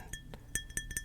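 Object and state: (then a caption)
Glass object tapped with nails. Long nails and fingertips tap a glass object, giving six bright clinks with a ringing tone near 1.8 kHz. The taps are short and die away quickly, some with a soft low thud under the high ring.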